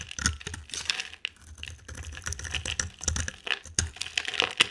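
A utility knife blade shaves and scrapes a solid, dry, oval light-green bar of soap with a dark rim. The clip is a steady run of crisp, bright scraping and crackling cuts, with short sharp clicks and faint low thumps between strokes.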